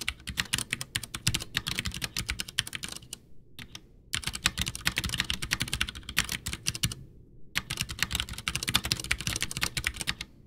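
Both hands type with their fingertips on a full-size, backlit white plastic Ducky One 2 mechanical keyboard with Cherry MX Brown switches and a hollow case, resting on a desk. Rapid, bright, clicky keystrokes clatter in quick bursts with a hollow low thump under each tap. Two brief pauses break the typing.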